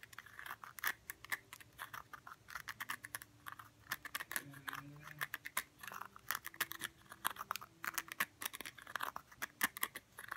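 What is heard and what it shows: Fingernails scratch and tap the flat surface of a round cork stopper sitting on top of a small blue glass jar. A quiet, steady stream of quick, dry clicks and scratchy rasps follows, bright and crisp with no ringing after each hit, over faint low humming tones.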